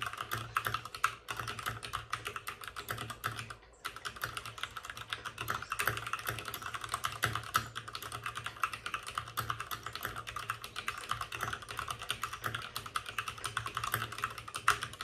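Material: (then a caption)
Plastic. Both hands with short-nailed fingertips type rapidly on a white full-size plastic mechanical keyboard with plastic keycaps and RGB backlighting, resting on a desk with a padded wrist rest. Dense, crisp clacks with quick decay cluster around 1.3 kHz and carry into the brights, with one brief pause near four seconds. A faint low hum sits underneath the steady stream of keystrokes.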